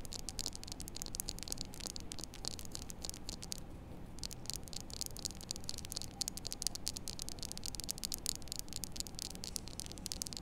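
Long nails rapidly scratch and tap the face and edge of a small, solid white-and-blue plastic poker chip held in both hands. The result is a quiet, dense stream of crisp, bright clicks and scrapes over a steady low rumble, with a brief lull near the four-second mark.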